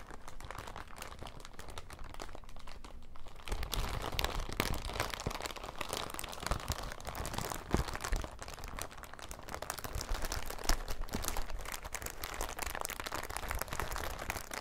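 A thin, transparent, empty crinkly plastic bag is held up and crumpled and rubbed between the fingers of both hands. After a softer first few seconds, a dense, continuous crackle of crinkling and crunching sets in, with occasional sharper snaps and a low rumble beneath it.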